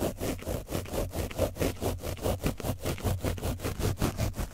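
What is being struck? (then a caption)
Foam microphone windscreen coated with dried paint, rubbed with a foam brush. A foam brush is rubbed back and forth over the sides of an orange foam microphone windscreen coated with dried paint. Heavy, scratchy rubbing strokes repeat at a steady pace, about twelve in under five seconds, each a swell of broadband friction noise over a deep, boomy low rumble.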